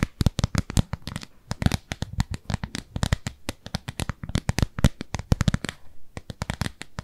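A thin, translucent, frosted plastic round lid held in both hands is scratched and tapped with long nails. It makes a rapid, irregular run of dozens of dry clicks and taps with bright, crisp edges and a soft low thump under each. Every tap dies away almost instantly.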